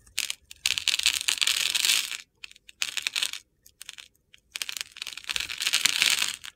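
A metal box-cutter blade scores and scrapes the surface of a solid rectangular green soap bar held in the palm, with crumbly chips falling onto a table. Bright, crisp, gritty scraping comes in three long bursts separated by brief pauses and scattered small ticks, with almost no low end.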